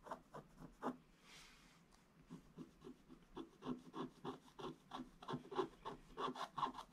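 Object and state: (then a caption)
Scratch-art paper scratched with a wooden stick. A wooden stick scratches repeated strokes across a flat, solid, black-coated scratch-art paper page. About 18 quiet, dry, rasping strokes are heard, centered in the mid-range. A short pause with a faint soft hiss comes near the start, and the strokes grow slightly louder and quicker toward the end.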